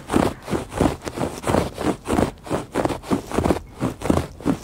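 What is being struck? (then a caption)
Woven fabric rug. Fingertips and nails make quick scratches across the weave of a woven textile rug, giving 15 short, rough, dry rasping strokes in a loose, uneven rhythm. Each scratch is a brief, soft-edged burst of low-to-mid fabric texture, with little bright content.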